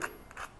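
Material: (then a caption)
Seared beef. The very crispy crust of a cooked beef steak is tapped or handled, giving two short, hard, plastic-like clicks with a bright crackle centered in the upper midrange. The sound ends quickly with almost no ring.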